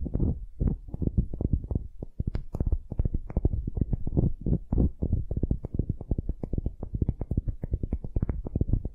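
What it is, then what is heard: Wooden sphere. Long nails scratch quickly over a palm-sized solid wooden ball held in one hand. The result is a dense run of rapid, dry scratching strokes that are mostly low and thumpy, with little brightness and almost no ring after each stroke.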